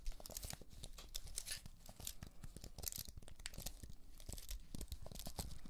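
Long acrylic nails scratch and tap across the plastic keys of a slim white wireless keyboard with an aluminium frame, held upright in one hand. A dense, quick run of bright clicks and scraping crackles rides over soft low thuds. The taps stay short and dry, with a steady, busy texture throughout.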